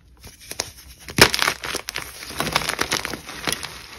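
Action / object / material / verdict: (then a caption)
scrape / gym chalk block / chalk / none. A solid white gym chalk block, held in both hands with long pink nails, is crushed and squeezed with the fingers into crumbly chunks and powder. Dry, bright crunches and crackles come in bursts, the loudest near the start. Softer gritty crumbling follows as the pieces break apart.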